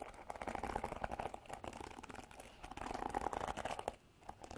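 Long black artificial nails scratch and strum across the black plastic bristles of a handheld Revlon paddle hairbrush with a white and silver plastic body. The result is a dense, crinkly run of rapid dry clicks and scrapes with a mid-pitched bristly tone, in two busy bursts separated by a softer stretch. It drops off sharply near the end before a few more light scratches.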